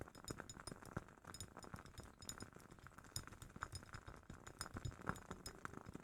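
A glass jar holding a WoodWick candle is tapped in quick, light succession, giving a steady run of soft clinks and chinks. Each tap is short, with a bright glassy ping on top and a low knock underneath, and it all stays quiet throughout.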